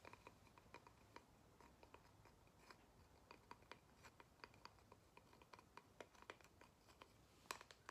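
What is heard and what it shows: A single square cork-backed photo coaster is tapped and scratched with long nails, first held on its edge and then held flat with the cork side up. A quick, uneven run of quiet, dry clicks and light crunchy scratches follows, each tap sharp and short with a bright edge over a hushed background.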